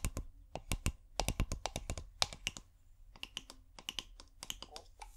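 Long painted nails tap a clear, hollow, bulb-shaped glass bottle with fairy lights inside. About 27 sharp, bright clicks come in an uneven, quick run, each dying away almost at once with a short glassy tick and little ring. A soft low rumble sits under the taps.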